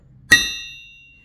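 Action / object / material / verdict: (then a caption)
tap / bare steel crankshaft / steel / sound. A 94 mm half-VW steel crankshaft, stripped completely bare, is tapped once with a hammer. It gives a clear, bright ringing clang centered near 1.9 kHz, with high overtones that sustain for about a second. The clean ring sounds right, now that the gear and other parts that had damped it are pressed off.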